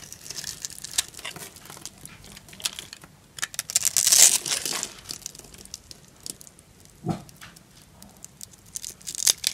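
A small knife blade cuts grid lines into a white bar of dry soap held in the hand and chips off small cubes. The result is a quick, irregular run of crisp, bright scraping and crumbling crackles. A louder, longer burst of crunching comes near the middle.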